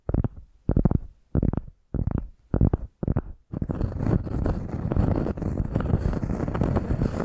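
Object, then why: Round cork coaster scratched with fingernails. A round solid cork coaster, held upright against the microphone, is tapped and scratched with long painted nails. Six short, close, low-heavy bursts of crackly tapping come first, then a steady stretch of dense, muffled scratching.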